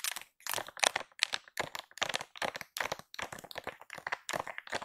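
Long pink acrylic nails tap and scratch the top of a soft plastic-film pack of baby wipes, pink and white with a cow print, lying flat and appearing full. Irregular bursts of crisp, bright crinkling taps and scratches come quickly, each stopping dry with no ring and almost no low end.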